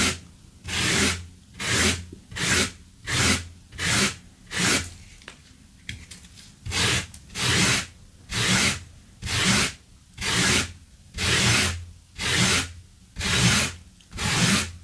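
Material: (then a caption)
Synthetic fibre. A gloved hand scrubs blue synthetic loop-pile carpet laid on a wooden floor with a small yellow-handled stiff-bristle brush, starting beside a small tin of debris that stays untouched. Repeated bright, scratchy brushing strokes come roughly once a second, each a short rasping swish with quiet gaps between. There is a brief, quieter lull in the middle before the steady strokes resume.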